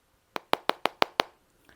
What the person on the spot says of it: This definitely sounds like plastic. It's supposed to be a sort of reinforced plastic with fiber.